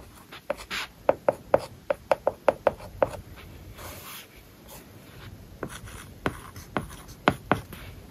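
A hard plastic stylus writes on a large iPad whose glass screen is covered with a matte plastic paper-like film. It makes seventeen crisp, woody ticks around 550 Hz, with a brief soft scratchy stroke between the two bursts of tapping.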